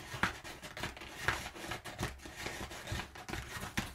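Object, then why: Crumpled kraft paper packing padding. Fingertips and nails scratch and scrunch crumpled brown kraft paper packing padding. The result is a steady dry crinkling rustle with bright, crisp crackles, broken by several sharper louder scrunches.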